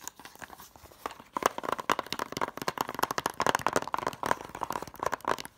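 Long nails tap quickly on the back cover of a closed, hollow white plastic DVD case with a paper insert. A rapid run of sharp, dry clicks follows, each carrying a hollow plastic ring near 940 Hz that dies away almost instantly. The taps start soft, then grow louder and denser after the first second.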